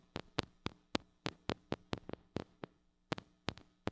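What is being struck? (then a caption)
Small metal microphone with mesh grille. A small gold-colored mini microphone with a metal mesh grille, a metal body and a hollow head, held in one hand, is tapped on the grille with long acrylic nails. About fifteen short, sharp clicks sound at an uneven pace, each dying away almost instantly. They have a bright edge over a low hum.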